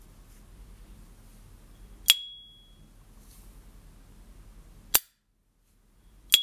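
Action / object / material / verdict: flick / plated metal lighter lid / plated metal / none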